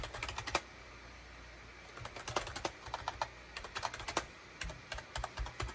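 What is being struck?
Plastic computer keyboard.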